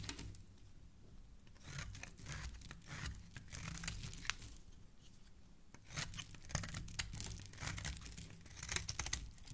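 A solid pink bar of soap, held in fingers with dark nail polish, has its surface scraped with a black blade as shavings fall away. The result is a steady run of dry, crisp scraping and crinkling strokes, bright and papery, over a low rumble. The strokes come in uneven bursts, with louder passages near the middle and end.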